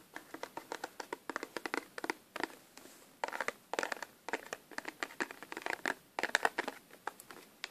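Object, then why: Cardboard tissue box. Fingertips and pink nails handle and scratch a small, hollow Sesame Street (Elmo) cardboard tissue box with a tissue sticking out of it. Quick, sharp scratches and crinkles come in dense bursts with brief pauses, bright and dry with no low end, each tap dying away almost instantly.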